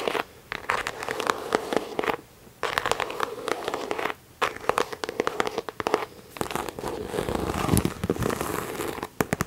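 A medium pink croc-embossed faux leather handbag with a pink chain accent, hollow, is held up and tapped and scratched on the front with long nails. Dense bursts of quick, dry clicking and crinkly scratching run in clusters with brief quiet gaps, carrying a mid-range tone near 430 Hz and short-lived taps.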